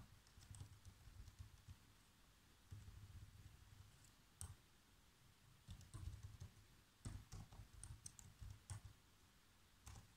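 Fingertips type on a black plastic laptop keyboard, giving quiet, dull key taps with a soft low thump and a brief bright click. The taps come in bursts with short pauses between, and each one fades almost at once.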